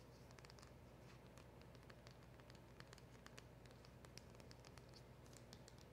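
Long acrylic nails tap and scratch the front of a small, hollow black cardboard packaging box with a round silver emblem sticker. Quick, bright clicks and papery scratches patter irregularly over a quiet, steady low rumble, with each tap fading almost at once.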